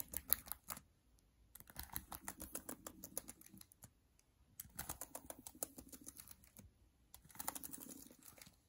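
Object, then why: Laptop plastic keyboard keys. Long dark nails tap rapidly on the plastic keys on the right side of a MacBook Air keyboard, making bright, dry clicks. The clicks come in dense bursts separated by short pauses.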